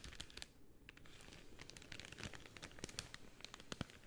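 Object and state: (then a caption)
Crinkled cellophane. Pink cellophane rolled into a long hollow tube is squeezed and crinkled with fingertips and nails. Quiet, continuous crackling fills the clip, with dense bright, sharp crinkle snaps over a soft low rustle. The snaps come out a little louder toward the end.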